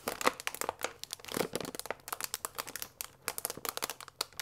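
A full paper fusilli bag with a plastic window lies flat and is rubbed and pressed with both palms and fingers. It gives dense, dry crinkling made of rapid, short, bright crackles that come in uneven bursts with almost no low end. Each crackle stops at once.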